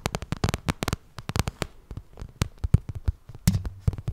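Long red nails tap and scratch the glossy side of a small, hollow pink vinyl cosmetic bag. It gives a quick, uneven run of dry, hollow taps, mostly low and thumpy, with faint scratchy rustles between them. Each tap dies away almost instantly.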